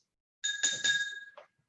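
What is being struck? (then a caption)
Glass drinking glass. Drinking glasses from a matching home set of four are tapped, giving a few quick, bright glassy dings that overlap into one clear ringing tone. The ring sits high in pitch, with strong bands around 1.7 and 3.7 kHz, and fades within about a second.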